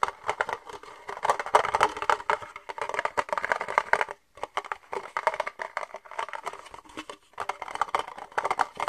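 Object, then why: Thin plastic cup. Fingertips and nails tap the walls and base of an empty, hollow red plastic party cup held upside down and tilted. The result is a dense run of quick, hollow, mid-pitched clicks with almost no low end and no ring, broken by a brief pause just after four seconds.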